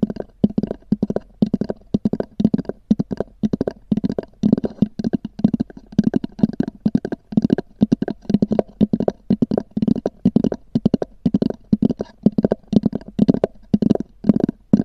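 Long nails tap and scratch the top of a small black oval EVA hard-shell zippered case with a textured covering and a hollow body. Rapid bursts of dull, hollow taps with a low-mid body around 215 Hz mix with short scratchy strokes, each dying away almost instantly. The sound repeats steadily in quick clusters throughout.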